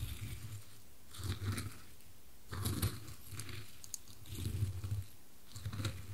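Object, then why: Wooden cube and wooden coasters. A white-gloved finger tips, rolls and knocks a small solid dark-wood cube against two side-by-side square light-wood coasters, moving it between them. The result is soft, low wooden thuds in several clustered bursts, each carrying short bright clicks and faint rolling rattles, with brief quiet gaps between them.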